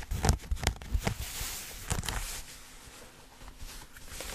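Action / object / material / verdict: scrape / denim jeans / denim / none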